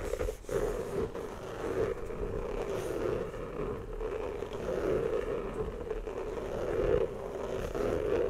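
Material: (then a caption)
Rubber. An inflated, hollow rubber basketball is tapped and rubbed with fingertips and nails. The result is a steady, soft scraping and rustling with a hollow resonant tone around 500 Hz that swells and fades throughout, with small taps mixed into the rubbing.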